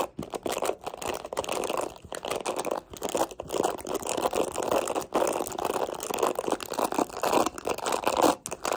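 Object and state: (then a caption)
Plastic hairbrush bristles scratched and flicked. Long nails scratch and flick the black plastic bristles of a mint plastic detangling hairbrush, then handle the back of the brush. The result is a dense, continuous stream of crisp, crinkly scratching with a mid-range body, broken by a few brief pauses.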